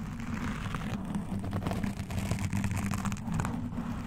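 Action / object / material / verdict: scrape / foam microphone windscreen / foam / none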